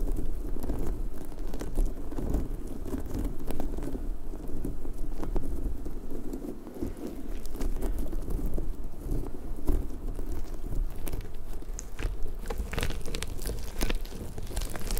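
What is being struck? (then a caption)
Soft rubber puffer ball. A large, hollow, pink soft rubber puffer ball with spiky tendrils is held in both hands and scratched and rubbed with fingertips and nails. The result is a steady, low, rumbling rub with soft crackling and scattered sharp, bright ticks that never stop.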